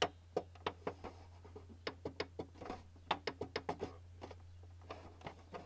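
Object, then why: Plastic printer housing. Fingertips tap lightly in a ticking rhythm on the top of a white plastic printer casing, a hollow housing, giving 18 short, dry, hollow knocks with a mid-range tone. The taps come in uneven clusters, some louder and some faint, over a steady low hum.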